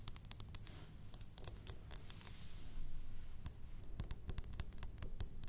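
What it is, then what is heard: Glass perfume bottle. Long acrylic nails tap and scratch the sides of a rectangular glass perfume bottle with a pink top, partly filled with liquid and standing on a wooden table. Rapid, irregular, bright clicks and clinks come in quick bursts with very short ring, over a soft, steady low hum.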